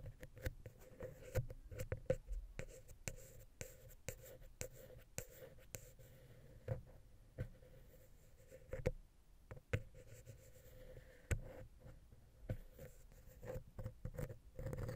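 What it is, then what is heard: Wooden pick scratching a metal microphone head. A wooden ear pick scratches and taps between the capsules of the silver metal X/Y microphone head on a Zoom H6, making close, soft scraping strokes broken by sharp, quick clicks. The sound is dry and low-heavy, with a faint steady tone near 520 Hz running underneath.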